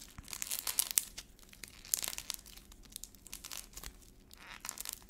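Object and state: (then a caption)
Black-painted clay ball being cracked. Fingertips squeeze a small solid ball of soft orange air-dry modeling clay coated in brittle black paint and peel away the cracked paint shell. The result is quiet, bright, dry crackling and crinkling in irregular bursts of sharp snaps, with almost no low end or ring.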